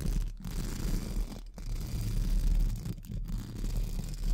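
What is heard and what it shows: Pink spoolie brushes scratch the sides of a hollow metal mesh microphone grille, with fingertips held close to the mesh. The result is a dense, muffled, rumbling scratch that sits almost entirely in the low end. It carries on steadily with a few brief gaps where the brushing pauses.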